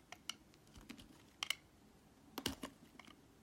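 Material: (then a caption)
Glycerin soap. A metal utility knife blade shaves thin slices off a solid translucent red glycerin soap block held close up, in repeated scraping strokes. About ten short, crisp, bright scrapes and clicks come at an irregular pace with almost no ring, over a quiet background.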